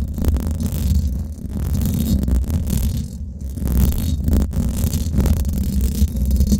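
Long acrylic nails scratch the hollow domed steel mesh head of a Blue Yeti microphone, at fast and slow paces. The result is a dense, low, muffled rumble centered around 78 Hz, with almost nothing bright. It continues steadily, easing briefly near 1.3 and 3.3 seconds before swelling back.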